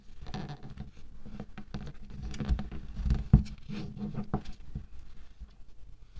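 Fingers and fingertips press, dig into and squeeze pink kinetic sand in a round clear plastic tub. A soft, low, steady patter of small crunches is heard, with a few louder thumps as the sand packs down.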